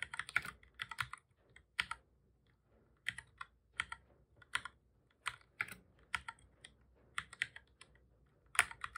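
Fingertips of both hands type on a black full-size plastic computer keyboard, making repeated key presses. Bright, crisp clicks come in quick bursts separated by short pauses, each tap dying away almost at once with very little low end.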